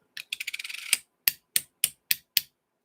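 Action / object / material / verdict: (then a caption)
strike / brass dollar coin / brass / dull. A Sacagawea dollar coin is struck at different spots, first with a quick flurry of light clicks and then five separate sharp taps. Each tap is a bright, short click that dies almost at once, with no lingering tone. The coin sounds dull and dead, with no ring no matter where it is struck.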